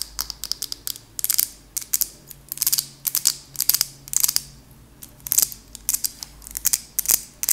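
A small glass candle jar with a purple label, holding solid wax, is held up and tapped with long acrylic nails on the glass and lid. The result is quick, bright clicking taps in irregular bursts and flurries, each dying away almost instantly with very little low end.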